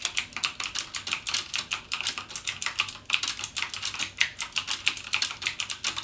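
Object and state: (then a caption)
Plastic mechanical keyboard. Fingertips type rapidly on a backlit mechanical keyboard with plastic keycaps and Cherry MX Blue switches. A steady stream of sharp, bright clicks follows, each key press short and crisp with almost no low end and a quick decay.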